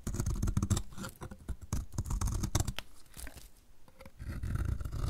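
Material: Soap.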